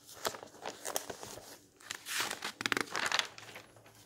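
Fingers flip and fold over old yellowed paper magazine pages in a thick bound volume resting on a table, rubbing them flat with the palm. Bright, dry paper rustling and crinkling comes in short bursts, with sharp snaps as pages turn and softer sliding swishes in between.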